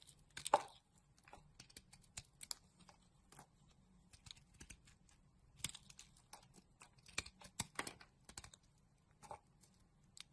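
A solid pink bar of soap held in the hand is scraped with a metal utility blade, peeling thin curls off its surface. Short, quiet, crisp scraping and crackling strokes come in irregular bursts, some bright and papery, over a faint low hum.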